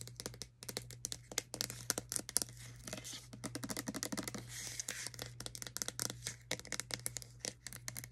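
Long acrylic nails and fingertips tap and scratch the body and gold cap of a hand-sized white plastic OGX shampoo bottle that is hollow and appears filled. The result is a rapid, dense run of bright, dry clicks and scratchy rustles that stop instantly with no ring, over a steady low hum.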